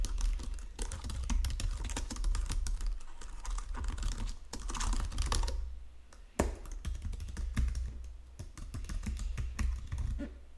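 Fingertips with painted nails type steadily across the low-profile keys of a full-size white and silver plastic Logitech keyboard resting on a marble desk. Dense, quick clicky keystrokes run over a steady low hum, easing briefly before one sharper tap brings the typing back.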